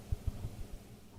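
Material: Nothing is struck.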